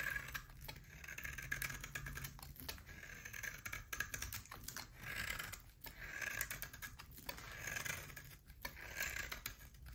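A utility knife shaves thin curls from a solid oval bar of hard soap with a pale core and a black rim. Steady dry scraping and crisp crackling run through the clip, swelling with each stroke and centered around 1.7 kHz with a bright top. A faint low hum sits underneath.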